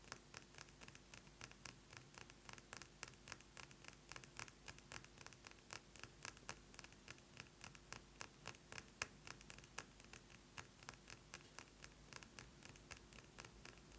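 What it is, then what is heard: Glass perfume bottle. Fingernails tap quickly and steadily on a glass perfume bottle, giving a long run of sharp, bright, glassy clicks with a slight jangling edge. Each tap stops almost at once, with a faint low hum underneath throughout.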